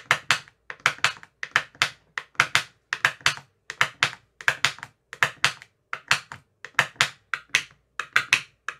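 A thin metal rod with a white tip taps into the cells of an empty clear plastic ice cube tray with green silicone cell bottoms. The result is quick bursts of short, dry, bright clicking taps that fade almost at once, with little low end. The taps come in rapid groups of two or three throughout, much like typing.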